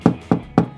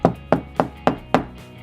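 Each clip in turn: First: Three low, dull knocks with a boomy thud around 170 Hz, the sound of hollow plasterboard between studs. Second: Five short, firm knocks on a wall, tight and higher pitched, marking solid timber behind the lining.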